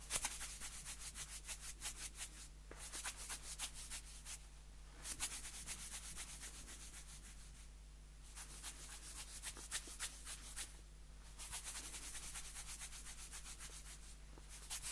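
A round blue plastic lid on a small white plastic tub is held up and rubbed and scratched with a fingertip. It gives quick, bright, dry scratching strokes in bursts separated by short pauses, over a faint steady low hum.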